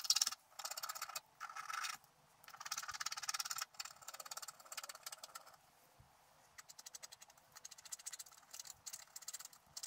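A wooden stylus scratches fine hair lines into the black coating of a scratch art sheet held flat. Bursts of dry, bright scratching come in strokes, first longer steady scrapes, then a run of quick short rasping flicks, with almost no low end.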